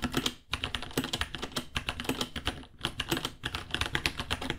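Both hands type with their fingertips on a small white 66-key plastic mechanical keyboard with Gateron Brown switches, white plastic keycaps, a hollow case and pink underglow, sitting on a white desk. A fast, steady stream of short, bright clacks rides over a low hollow thock, with brief pauses near the start and later on. Each tap dies away almost instantly.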